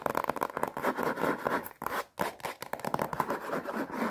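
Long painted nails rapidly tap and scratch the crinkly plastic-wrapped front cover of a rectangular watercolour paper block, a solid stack of paper sealed in thin film and held upright in both hands. The result is a dense run of quick, dry crackling taps and scrapes centred in the midrange, with a brief pause near the middle before the tapping resumes.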